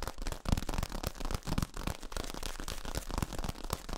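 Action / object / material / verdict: scrape / ribbed plastic tube / plastic / none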